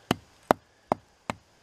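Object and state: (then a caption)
Dead hickory trunk with loose bark. Four short, dull thumps on the lower trunk of a dead hickory tree with loose bark, each dying away almost at once with a mid-pitched knock and no ring. The trunk doesn't sound great, but it could be worse.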